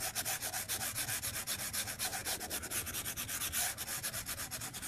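The hard plastic tip of a white stylus moves across a large, flat, solid glass iPad screen lying on a desk, making drawing strokes. It produces a continuous, bright, scratchy rub with little low end, pulsing in about 28 quick, somewhat uneven strokes over five seconds.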